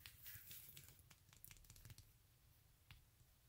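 Long nails scratch the glitter toe strap and sole of a silver glitter stiletto sandal held in the hand. The result is a quiet, rapid run of dry, crackly scrapes with bright, hissy edges over a low rumble. The scrapes are densest in the first two seconds, then thin out to a few sharp clicks.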